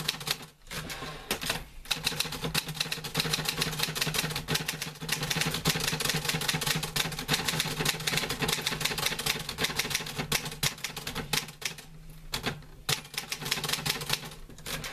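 Fingertips type on the keys of a green-grey metal portable manual typewriter with paper loaded. A rapid, steady stream of crisp, bright metallic clacks carries on throughout, pausing briefly a few times before picking up again. Each strike is short and dry, with a faint low hum underneath.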